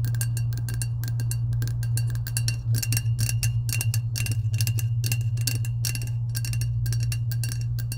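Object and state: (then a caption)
Coated steel tumbler tapped with nails. Long acrylic nails tap and scratch the coated side of a medium lilac, powder-coated insulated stainless steel tumbler with a clear plastic lid, held upright and hollow. The result is a rapid, continuous run of bright, crisp clicks with faint metallic ringing, over a steady low hum.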